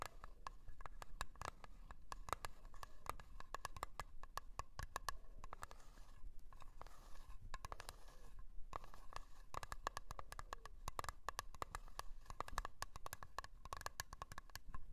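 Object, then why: Small round metal cream tin tapped and scratched with fingernails. Long polished nails rapidly tap and scratch a small round blue metal tin of Nivea cream with its lid on. The result is a quiet, dense stream of crisp clicks and light scrapes, each carrying a faint metallic ring around 1.2 kHz that dies away almost instantly. A few brief pauses break the steady patter.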